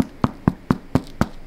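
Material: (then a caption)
Bread. Seven short, dull, hollow taps land at an even pace on the bottom of a freshly baked sourdough loaf, checking whether it is cooked. Each tap is a brief low thump that dies away almost at once. The hollow sound shows the loaf is baked through.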